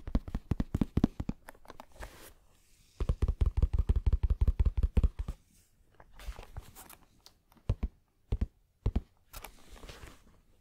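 Fingertips tap and scratch across a held, dark grey zippered Bose headphone carrying case, a hollow, palm- to hand-sized molded shell covered in fabric, probably empty after the headphones were removed. Rapid bursts of short, dull, low taps alternate with softer, brushing scratches and brief pauses, and each tap stops almost instantly with no ring.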